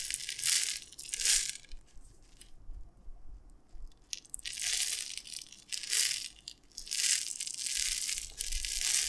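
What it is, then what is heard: Glass jar of dry tapioca pearls. A clear glass jar with a gold lid, filled with dry tapioca pearls, is held in both hands and shaken and tilted back and forth. The pearls shift and rattle against the glass in bright, hissing bursts that swell and fade, with a quieter stretch in the middle.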